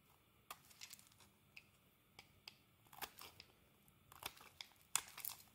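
A metal utility blade scrapes across the surface of a solid green bar of soap, curling off thin shavings. Short, crisp, bright scraping and crinkling strokes come at an uneven pace over a quiet background, growing louder and denser toward the end.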